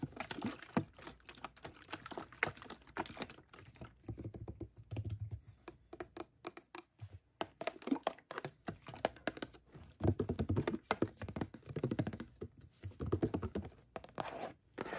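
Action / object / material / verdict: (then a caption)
tap / clear plastic bottle partly filled with liquid / plastic / none. Long dark-painted nails rapidly tap and scratch the sides of a clear plastic Dickinson's witch hazel bottle with a white cap, hollow and partly filled with liquid, held in hand in front of a mannequin face. Dozens of quick, dry clicks and hollow taps come in uneven bursts, with a soft low body under the scratchy patter. The taps stop fast with almost no ring.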